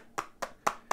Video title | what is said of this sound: HTC U11 life Unboxing und erster Eindruck | das Ding, vor allem hört mal, das klingt hohl